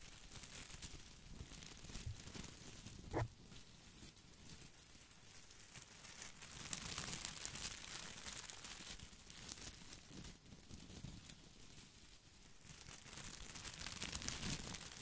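Both hands rub and scratch the small plastic leaves of an artificial boxwood ball with their fingertips. The result is a quiet, continuous crinkling and scratchy rustle with a bright, hissy top, swelling in the middle and again near the end. A single sharper tick stands out around the three-second mark.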